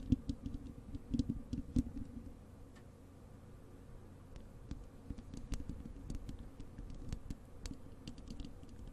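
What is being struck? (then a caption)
Wire-mesh metal microphone grille. Long acrylic nails on both hands scratch and tap the bare, hollow wire-mesh metal grille of a large desktop microphone. Quick, dry clicks and soft scraping patter along with a low, muffled hum, with the loudest taps early on before settling into a steady, quieter scratching texture.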